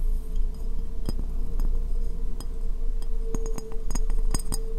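Long painted fingernails tap the base and sides of a medium, hollow, empty white ceramic bowl turned upside down over the microphone. Sharp, bright clinks come in irregular bursts, some with a short ringing tone near 470 Hz, over a steady low rumble.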